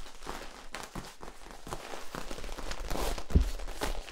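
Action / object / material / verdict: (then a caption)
scrape / ribbed plastic tube / plastic / none. Fingertips scratch and tap the ribs of a long, hollow, yellow corrugated plastic tube held upright and then sideways. A series of soft, dull, low taps at an uneven pace mixes with a faint ribbed scratching, and the taps grow slightly louder toward the end.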